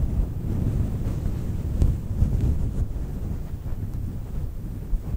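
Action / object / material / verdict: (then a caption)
scrape / synthetic fur microphone windscreen / synthetic fur / none. Long nails scratch the top of a round, fluffy synthetic faux fur microphone windscreen, producing a continuous low, muffled rumble and rustle. The sound stays dark and boomy with no bright content, broken only by a few soft thumps.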